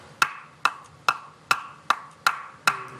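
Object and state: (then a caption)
Unseasoned wet firewood. A piece of unseasoned, still-wet firewood is knocked seven times in a steady rhythm, each hit a short, woody knock with a quick decay. The sound is dull and thudding rather than clear and light, marking the wood as not yet dried.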